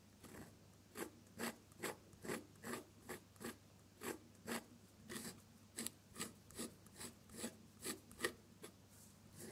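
A metal dip-pen nib loaded with red ink scratches across a flat sheet of drawing paper while drawing petals. Quiet, steady scratchy strokes repeat a little over twice per second, each a short bright rasp over a faint constant low hum.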